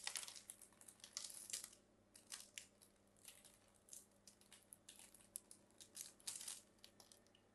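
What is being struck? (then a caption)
Bar of soap. A hand-sized, solid blue-and-white striped bar of soap, held in fingers with long French-manicure nails, is carved with a thin metal craft blade that scrapes and cuts flakes and chunks off its surface. Quiet, bright, crisp scraping and crackling bursts come in quick irregular clusters, each dying away almost at once over a faint steady low hum.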